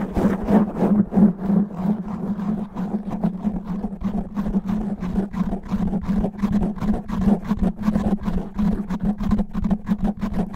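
Long natural nails on two hands scratch fast and roughly over a black foam microphone windscreen, producing dense, irregular bursts of crackling, rustling friction at about three strokes per second. A steady low hum near 207 Hz runs underneath the whole time, and each scratch dies away quickly.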